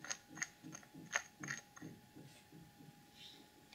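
Long acrylic nails tap and scratch the sides and screw lid of a small clear plastic cosmetic jar full of dark holographic glitter, held in both hands. Irregular sharp, bright clicks with a short ringing tone around 1.8 kHz come first, then soft, scratchy rubbing as the taps grow quieter.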